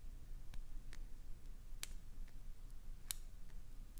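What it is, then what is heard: Glycerin soap bar. Long pointed acrylic nails scratch the surface of a clear green solid glycerin soap bar and carve off small shavings. Quiet, sharp, bright clicks and scrapes pop out at irregular moments over a low, steady background rumble.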